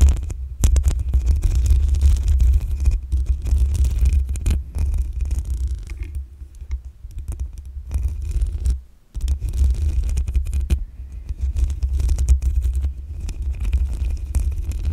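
Long acrylic nails scratch the black metal mesh grille on the hollow head of a desktop condenser microphone. The result is a dense, continuous, muffled scraping rumble that is heavy in the low end. It falls nearly silent for a moment around nine seconds, then resumes.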